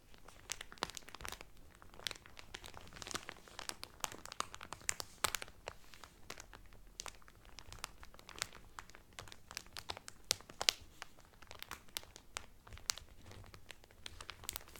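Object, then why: Cellophane wrap over a cotton towel. Fingertips and nails crinkle clear cellophane wrapped over a cotton Carnival Cruise towel. A steady stream of quiet, sharp, bright crackles and crinkles fills the clip, each snapping off instantly with very little low end beneath it.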